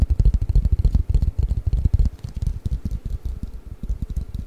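A long, flat, hollow cardboard box for Mikado pick-up sticks is held above the microphone and tapped quickly with fingertips and nails. The taps are deep, dull, hollow thumps centered around 60 Hz, with faint dry clicks above them. They come in a busy, uneven patter that is loudest in the first two seconds and then eases to a softer, steady rhythm.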